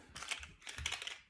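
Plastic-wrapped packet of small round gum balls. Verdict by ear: Four pieces.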